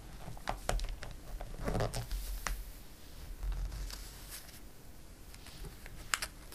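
Fingertips and a palm rub across the pages of a glossy paper catalog, making soft, airy swishes and crinkles dotted with sharp, bright paper ticks over a low rumble. Partway through a page is turned with a fuller papery sweep, then the light rubbing continues.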